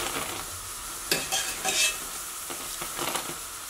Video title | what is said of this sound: طرز تهیه بامیه و شربت به سبک قنادی 100% گارانتی ، آموزش شیرینی بامیه ایرانی ماه رمضانBamiyeh Persian | میبینید بامیه ها خشک صداش، این یعنی که مواد ما درست هستش.